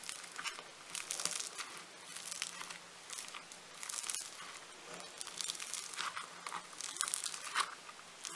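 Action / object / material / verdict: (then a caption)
scrape / foam-bead modelling clay / foam beads / none. A solid, soft lump of blue floam foam-bead clay is pinched and pressed between thumbs and fingertips. It makes bright, dense crackling and crinkling in repeated swelling bursts, with quieter gaps between them. A faint steady low hum runs underneath.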